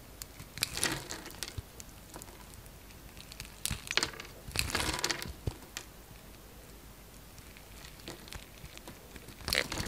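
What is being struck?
Bar of soap.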